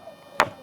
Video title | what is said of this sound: నిర్మల్ గుట్టలపై రాగాలు పలికే రాళ్లు! - ABN Special Drive on Nirmal Hills Musical Stone History - | పక్కన రాయిని కొడితే అసలు ఫ్లాట్ ఏమీ లేదు